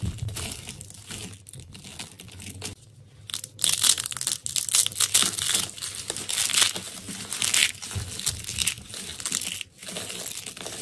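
A pile of crumbled yellow dried soap curls and flakes is squeezed, crushed and rubbed between bare fingers. The brittle pieces give off a continuous bright, dry crinkling crunch in uneven bursts, with sharper louder crackles through the middle of the clip and brief quieter pauses.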